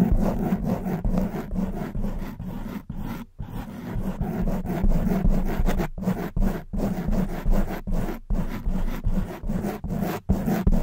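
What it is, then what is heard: Foam microphone windscreen being scratched. Long white nails scratch and rub a soft black foam windscreen on a silver condenser microphone with both hands. The result is a dense, muffled, low scraping and rubbing, heavy in the bass with a hum near 188 Hz, coming in uneven repeated strokes with brief pauses between them.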